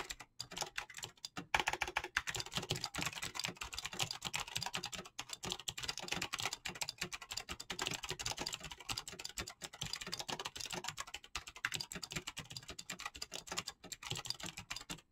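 Fingertips with short nails tap quickly across a full-size mechanical keyboard with clicky green switches and PBT plastic keycaps during fast typing. It makes a dense, steady stream of sharp, bright clicks that die away almost instantly, with only a little low thump beneath them.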